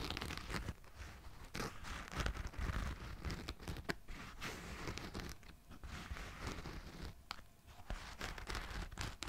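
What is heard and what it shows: A black and yellow running shoe of synthetic mesh and plastic, hollow and empty, is held close and its upper is scratched with fingertips and nails. Dense scratchy, crinkling rasps come in uneven bursts, with short sharp scrapes standing out. The sound is mostly low in weight with a thin bright edge and no ring.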